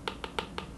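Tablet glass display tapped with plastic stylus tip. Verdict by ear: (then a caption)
Hollow. A hard plastic stylus tip taps five times on the glass drawing surface of an iPad 10. Each tap makes a short, hollow click. The sound comes from the non-laminated display, which leaves a small gap between the LCD and the cover glass, unlike a laminated Samsung tablet that barely makes a sound.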